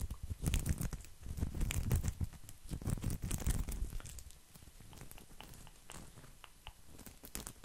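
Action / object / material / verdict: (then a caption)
scrape / coiled woven straw placemat / straw / none. A round, coiled woven straw placemat is held up close and scratched with the fingertips and nails of both hands. The result is dense, irregular scratching and crackling, heavy and low in the first half, then softer and sparser with occasional bright ticks.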